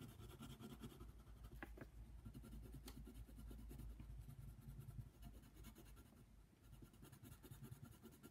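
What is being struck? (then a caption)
Wooden colored pencil on a paper coloring page. A yellow wooden colored pencil is scratched back and forth over a flat paper coloring book page while coloring in a giraffe. The result is a continuous, soft, papery scraping texture made of quick, uneven strokes. It sits over a steady low rumble, with little high-end brightness.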